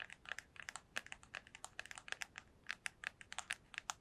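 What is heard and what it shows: A small, hollow white cardboard box, held in both hands, is tapped with long nails on its top and sides. About two dozen quick, quiet, dry clicking taps fall in an uneven rhythm, each bright and crisp with almost no low end. Every tap dies away almost instantly.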